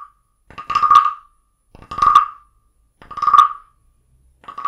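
A small carved wooden frog guiro, held in the palm, is scraped along its ridged back with a wooden stick. Repeated rasping croaks come in short bursts, each a rapid ratchet of clicks around a steady tone of about 1.2 kHz with bright edges, separated by brief silences.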